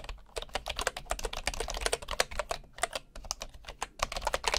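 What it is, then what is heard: Bamboo computer keyboard. One hand types with the fingertips on a bamboo computer keyboard with wooden keycaps and a hollow housing. A steady run of quick, dry, hollow-sounding taps comes in irregular bursts, each tap short with almost no ring and a bright click on top of a woody knock.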